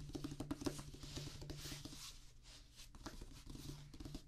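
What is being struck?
Rubber drum practice pad.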